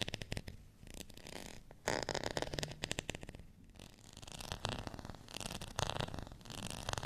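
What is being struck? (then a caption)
Ribbed plastic rice paddle. Fingernails scratch across the ribbed surface of a thin, solid, beige ridged plastic rice paddle. The result is bursts of rapid, raspy clicking and rasping with a bright edge, separated by brief quieter pauses.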